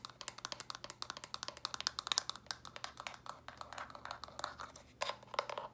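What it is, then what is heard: Plastic storage box, hollow. Small hollow pink, lilac and purple plastic Lego-style stacking storage bricks, held in hand, are tapped and scratched quickly with long dark-painted nails. The result is a rapid run of sharp, bright clicks with almost no ring, mixed with scratchy rustling.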